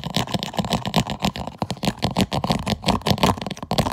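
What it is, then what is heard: Plastic food container lid. Fingernails rapidly scratch and tap the ribbed lid of a clear plastic food container with an orange "PUSH" vent button. The result is a fast, dense stream of short, dry scrapes and clicks with a bright edge and a low body, each sound dying away almost instantly.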